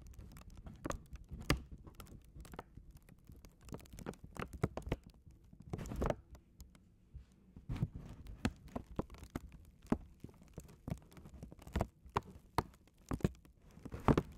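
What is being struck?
Folded paper bag.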